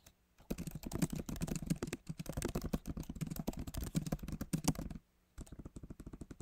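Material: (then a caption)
Plastic. Fingertips of both hands type rapidly on a solid, backlit MacBook Pro keyboard with plastic keys set in an aluminum body. Dense, soft, low-weighted key taps and clicks run for about five seconds, pause briefly, then resume more quietly.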